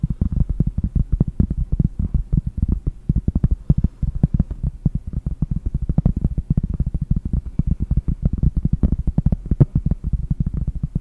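Long painted nails tap rapidly on a large, round, solid cork trivet held close to the microphone. The result is a steady stream of soft, dull, low thumps with almost no ring and no bright edge.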